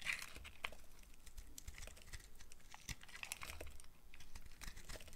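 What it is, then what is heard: Dry soap bar being carved. A solid rectangular bar of dry purple soap with stripes is held in one hand while a box cutter blade shaves thin slices from its end. Quiet, crisp scraping and carving sounds follow in quick succession, with bright crackly edges and a soft low rumble underneath.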